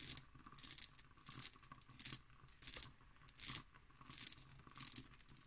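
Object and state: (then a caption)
Cut glass decanter, nail tapping and scratching. An empty, textured cut glass decanter with its stopper in stands on a table while long nails tap and scratch its bumpy glass. Soft, bright, gritty scratching bursts with light clicks repeat at an uneven pace, almost all high-pitched with very little low end and no ringing.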